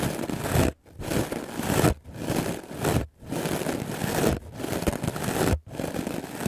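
A white, rectangular, solid melamine foam sponge is held in the hand and brushed aggressively with a wooden clothes brush with black bristles. The result is six bursts of dense, rough scraping and crackling, with a low rumbling body, separated by brief silent pauses.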